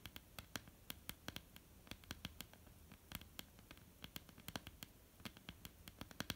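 Long polished nails of both hands tap and scratch on a solid, flat dark wooden tabletop. A quiet, irregular patter of sharp, bright clicks rises over a soft scratchy hiss. Each tap dies almost instantly, leaving a dry, close sound with a faint low thump underneath.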